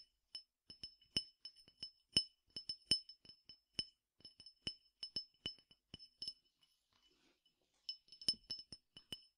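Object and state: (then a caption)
Glass tumbler with peppercorns. Fingernails tap a clear glass tumbler partly filled with peppercorns, producing about two dozen quick, bright glassy clinks with tones near 3 kHz and higher. Each tap rings only briefly, and the taps come in irregular bursts with a short lull around the seventh second.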